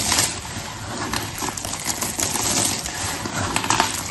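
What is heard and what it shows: Fingertips with long red nails crush, rub and spread a heap of small, solid, layered blue, pink and white soap chips across paper. The result is a steady, bright, dry crackling and crunching with quick gritty scrapes and brief sharper snaps, with little low-end weight.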